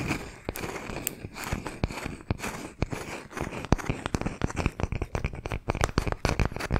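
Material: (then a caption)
Wood. A palm-sized, solid round slice of tree trunk with a bark edge and visible rings is held in both hands and tapped and scratched with fingernails. Sharp, dry, woody taps land at an uneven pace, speeding up toward the end, over a steady scratchy, crackling rustle with a low, dull body.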